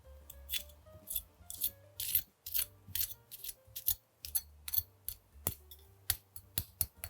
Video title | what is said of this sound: One Of These Made The CRISPIEST Baked Wings EVER! | you can really hear how crispy this thing is